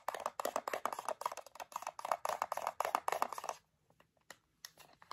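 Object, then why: Small metal tin. A small printed metal tin of gummies, closed, is turned in the hands and tapped on its sides and label with long fingernails. Quick, irregular clicky taps ring briefly in the mid range, with bright edges. Dense tapping runs for about three and a half seconds, then thins to a few scattered soft taps.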